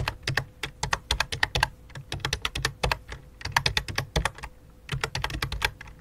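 Both hands type rapidly with their fingertips on a full-size white and light-blue plastic computer keyboard with a hollow plastic body. The result is a dense stream of short, bright clacks, each with a low hollow thump beneath it, coming in quick bursts with brief pauses. A faint steady hum runs underneath.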